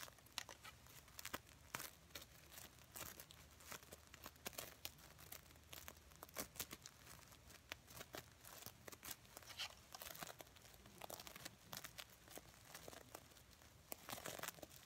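Fingers and nails brush and scratch the red reversible sequins covering a small stuffed heart pillow. The result is a quiet, steady stream of bright, crinkly scratching with many quick, sharp sequin clicks that die away almost instantly.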